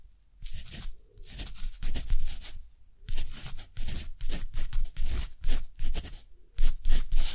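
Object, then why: Textured cotton paper sheet with metal pen nib. A metal dip-pen nib scratches across a thick, flat, textured cotton paper sheet while writing a line of text, with the left hand steadying the paper. Short, dry, bright scratchy strokes come in uneven bursts, separated by brief quiet pauses, with a low rumble underneath.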